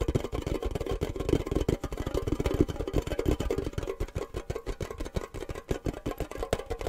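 A small, hollow, empty triangular printed metal tin shaped like a cake slice is held in the hands and tapped fast with fingernails and fingertips. It gives a rapid, continuous run of short, dull, hollow knocks, mostly low with a midrange tone around 300 Hz. Each tap dies away almost at once.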